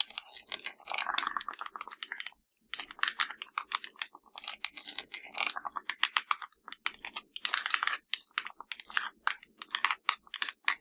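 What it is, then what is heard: Plastic TV remote control. Fingertips and nails quickly tap and press the rubber buttons of a hollow black plastic LG TV remote. The result is a dense stream of short, bright, dry clicks with almost no low end, broken by a brief pause early on.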